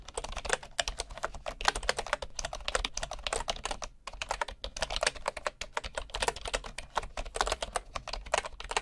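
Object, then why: Bamboo keyboard with wooden keycaps. Fingertips type steadily on a bamboo computer keyboard with wooden keycaps, heard from the side up close. The result is a rapid, continuous stream of short, dry clicks and taps with a bright, woody tone. There is a brief pause near the middle before the typing resumes.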